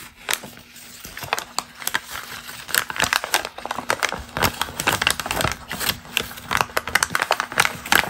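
A single thin, already crumpled glossy magazine page, held in both hands above other loose pages, is crinkled by fingers with long green nails. Dense, bright, crisp crackles pop in quick irregular bursts throughout, each snapping off almost instantly, with a faint steady low hum underneath.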